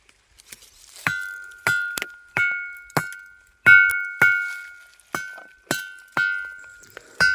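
A basaltic lava ringing rock at a well near Kurraram, holding 9–12% ferric oxide, is struck repeatedly. Each strike gives a clear, metallic ringing tone around 1.4 kHz, with a fainter higher overtone, that fades before the next. The more of this iron-bearing material such a rock holds, the more beautifully it sings.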